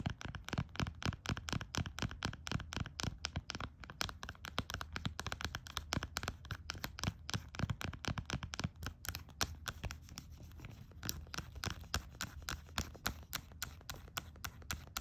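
Long acrylic nails tap rapidly and irregularly on a small, full plastic hand sanitizer bottle in a pink silicone holder with a paper tag. Dozens of short, dry clicks with a dull low thump run steadily through the whole clip, each dying away almost instantly.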